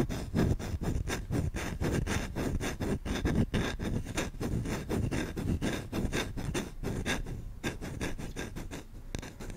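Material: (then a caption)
Wood. A solid wooden spoon held by the handle has its bowl scratched fast by a thumb and short-nailed fingers. The rapid, uneven strokes make dry, dull rasping bursts, weighted toward the low end with little brightness. Each stroke dies away almost at once without ringing.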